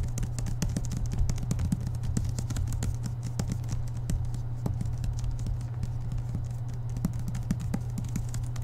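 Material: Paper.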